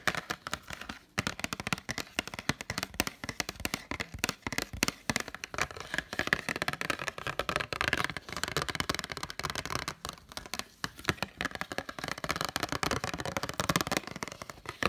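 Fingertips and nails tap quickly on the front and then the back of a small, hollow special edition Hunger Games Blu-ray case in a printed cardboard slipcover. The taps come as a dense stream of dry, crisp clicks with very short ring and a bright, papery edge, continuing steadily with brief pauses throughout.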